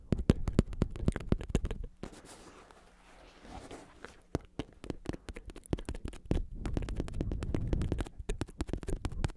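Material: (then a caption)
Synthetic leather. A black padded bicycle saddle with a synthetic leather cover, red trim and a plastic shell is held on its side in one hand and tapped and scratched on the cover with fingertips and nails. Fast, irregular dull taps with a deep, low-heavy thump alternate with a quieter stretch of soft scratching in the middle. Each tap dies away almost at once.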